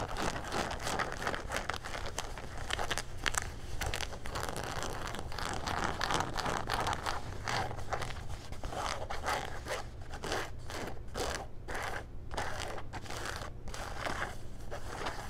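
Cuffed gray denim jean shorts are held and turned in the hands while fingernails scratch across the denim and the back pocket. Dense, rapid rasping scratches and rustles run continuously over a steady low hum, with brief, bright, crackly bursts throughout.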